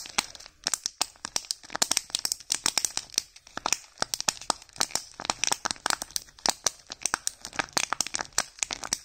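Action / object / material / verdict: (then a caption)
scrape / thin foil wrapper on a small plastic egg / foil / none. A small hollow plastic Kinder Joy egg in a thin blue Doraemon-printed foil wrapper is held in both hands while fingertips and thumbs rub, crinkle and begin peeling the foil. Dense, bright, dry crackles and snaps come in quick irregular bursts with almost no low end and no ring.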